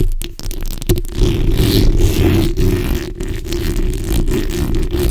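The backs of long nails scratch and rub across a black hollow metal mesh microphone grille. The result is a continuous, dense, low-heavy rasping scrape with irregular, quick strokes and very little high-end brightness.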